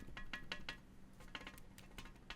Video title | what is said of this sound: Yakan Barung (Unboxing, Testing, and Review) | It's a little loose. So there's some rattle to it.